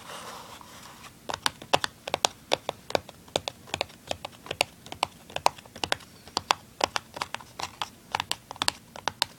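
Fingernails scratch and tap the printed side of a small, hollow, open and empty printed cardboard tuner package. A soft scratching rustle in the first second gives way to a quick series of several dozen sharp, dry, bright taps that stop instantly with no ring.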